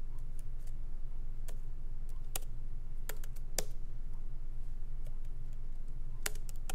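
Light fingertip taps from both hands typing on the plastic keycaps of a MacBook Pro laptop keyboard, set in its aluminum body, as the laptop rests on a wooden desk. Sharp, bright clicks land at an uneven pace over a steady low hum.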